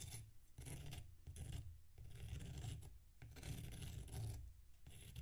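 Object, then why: Packed sand block scraped with a metal knife. A metal knife scrapes the surface of a solid packed sand block resting on a plate. Repeated gritty, rasping strokes with short pauses between them carry a heavy low rumble beneath a bright, hissy grain.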